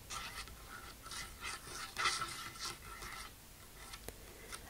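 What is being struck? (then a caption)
Wooden tabletop. Long nails and fingertips sweep across a large, solid, dark polished wooden tabletop, scratching and rubbing it. The result is a series of soft, airy scratching bursts with a bright, hissy edge, and a sharp tick stands out near the end.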